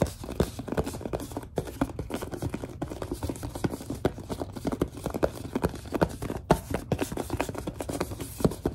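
Hands grip and squeeze a large white plastic Suave lotion bottle while long nails tap and scratch its label. A steady stream of quick, dry taps and rubbing scrapes continues throughout, each tap ending almost at once. The sound is mostly low and mid-toned, with little bright content.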